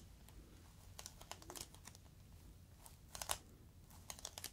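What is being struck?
Inflated plastic air-column cushion.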